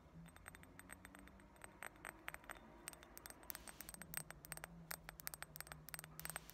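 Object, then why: Thick glass ashtray. Long nails tap and scratch the rim and walls of a round, heavy, thick-walled clear glass ashtray or dish that is solid and empty. A rapid, irregular series of bright, short clinks and clicks sounds over a faint, steady low hum, each tap dying away almost at once.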